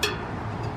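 A single steel spoke on the non-drive side of a rear road bike wheel with an asymmetric rim is plucked during a rebuild, giving one bright twang around 418 Hz that rings for most of the clip. The non-drive side spokes sit at slightly lower tension than the drive side, which carries more tension because of the spoke angle; this is normal.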